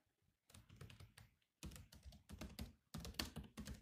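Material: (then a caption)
Plastic. Fingertips tap the black plastic keys of a grey laptop keyboard while typing, making a quick run of soft, low thunks with bright, crisp clicks. The keystrokes come in three bursts with brief silent pauses between them, and each tap dies away almost at once.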